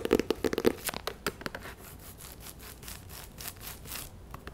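A small, hollow, white and red printed cardboard box is held in the hands and tapped and scratched with long nails. A quick flurry of light, hollow taps comes in the first second and a half, followed by softer, steady scratching across the surface with a few faint taps near the end.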